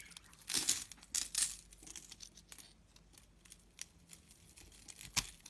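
A snap-off box-cutter blade scrapes and carves a grid pattern into a rectangular, solid purple bar of dry soap held in a hand with long glittery nails. Bright, crunchy scraping strokes and crackles shave off small flakes, louder in the first second and a half. A sharp crunch stands out near the end.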